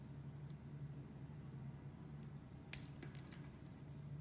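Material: Soap.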